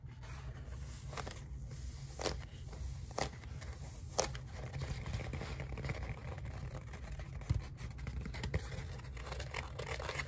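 A lime-green hollow polyethylene foam pool noodle is held upright and then horizontally while fingertips and nails tap, scratch and rub its surface. The result is soft, crinkly scratching and rubbing over a steady low hum, broken by several brighter, sharper taps.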